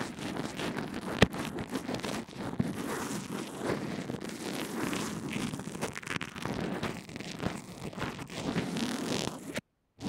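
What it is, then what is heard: Bandage-covered earphone microphone being brushed. A small earphone microphone wrapped in a fabric/plastic adhesive bandage lies on a table and is brushed back and forth with a pink plastic mascara spoolie held by a hand with long red nails. The result is a steady, dense scratching rustle with a low-mid body and occasional sharp clicks, continuing throughout. It cuts to near silence just before the end.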